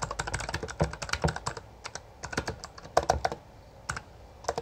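A full-size backlit Bloody B820R mechanical keyboard with plastic keycaps is typed on rapidly with the fingertips of both hands. It produces a fast stream of short, crisp clacks with a low thock beneath them, broken by brief pauses. Each keystroke dies away almost instantly.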